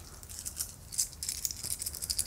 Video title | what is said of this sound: Oghamová magie- Epizoda 3 - Tvorba vlastního oghamu | jsou drobné a jak slyšíte, poměrně dost chrastí